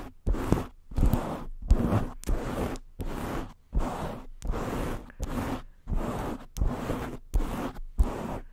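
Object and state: Foam microphone cover.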